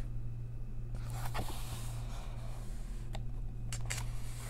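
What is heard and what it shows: Long nails trace across the text of an open paper coloring book and then turn a page, producing soft scratching and brief bright paper flips. A steady low hum sits underneath throughout.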